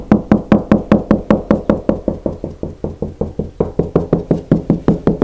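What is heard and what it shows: Bare knuckles knock 28 times along a partly painted interior plasterboard stud wall with a hollow cavity behind, moving sideways across it to find the studs. The knocks are short, hollow thuds with a low body and a quick decay. Partway through they turn quieter and duller, then grow louder and brighter again.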